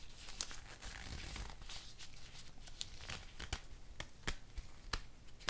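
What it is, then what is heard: Nitrile rubber gloves. Thin black nitrile rubber gloves worn on both hands are pulled on, stretched, snapped at the cuffs and fingers, and rubbed together. A steady crinkling, squeaky rub runs under a low rumble, broken by sharp, bright snaps that cut off quickly.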